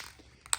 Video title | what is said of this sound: Prep & Paint The Engine Block - Part 2 (SBC 383 Stroker) | until you hear that ball moving freely, that's how you know you're good to start spraying